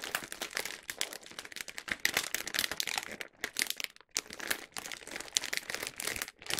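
A large printed plastic film bag of Hoshi Tabeyo snacks, full of individually wrapped snack packs, is held in both hands and shaken and crinkled. Dense, bright crackling and rustling crinkles run throughout, with a couple of brief pauses.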